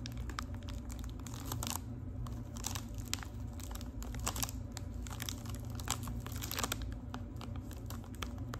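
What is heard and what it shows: Long nails scratch and tap the crinkly surface of a small, rectangular, gold foil-wrapped Lipton tea package. Dense crinkling and scratching are broken by many quick, bright ticks that die away almost instantly, over a steady low hum.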